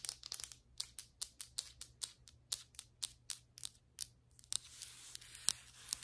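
Long white acrylic nail tips tap quickly and irregularly on solid ceramic floor tiles, giving sharp, bright clicks with almost no ring. Toward the end they scratch along the tile and grout lines, making a harsh, airy hiss between the last taps.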